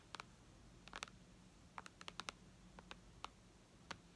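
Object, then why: Tablet glass touchscreen. Long red nails tap on the glass screen of a white iPad lying flat, making about a dozen quiet, sharp, bright clicks in irregular bursts. Each click is very short with almost no ring, over a faint steady low hum.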